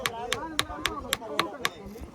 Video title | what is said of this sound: VIZAG TO MAHENDRA GIRI DAY - 2 --#viral #motovlog #bikeride #teluguvlogs #jaswanthsanapala#travel | ఈ స్టోన్ మీద ఇంకో రాయితో కొడితే మనకి మంచి సౌండ్ వస్తుంది